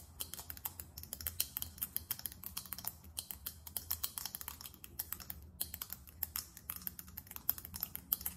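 Long almond-shaped nails tap rapidly on a small faceted glass perfume bottle with a silver metallic cap. The result is a dense stream of sharp, bright clicks with almost no ring, over a faint low hum, with a brief pause near the middle.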